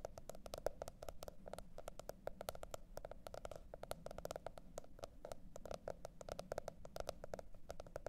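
Long red nails on both hands tap and scratch the printed cardboard hardcover of a teal spiral-bound notebook lying flat. Quick, dry clicks with a hollow mid tone follow one another in a rapid, steady patter, with faint scratching between them over a low, quiet rumble.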